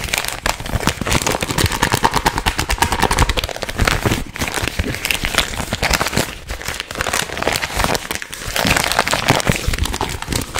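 Fingertips crinkle, squeeze and shake a small, soft, hollow green printed plastic-film gum packet. The result is a dense, continuous run of sharp, bright crackles and rustles, with brief pauses between bursts.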